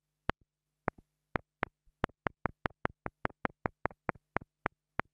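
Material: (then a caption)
Plastic. A black plastic mini lavalier microphone, held in fingers with long nails, is tapped repeatedly with the tip of a thin wooden stick. Eighteen sharp, dry clicks, most followed by a faint softer rebound tap, sound over a steady low hum. The taps fall in an irregular, gradually quickening rhythm and die away almost instantly.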